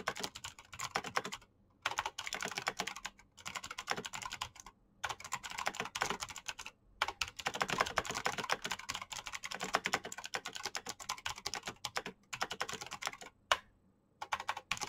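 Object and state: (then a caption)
Plastic mechanical keyboard. Fingertips type rapidly on the keycaps of a black plastic mechanical keyboard. Bursts of dense, bright clicks and clacks run with a few brief pauses between them.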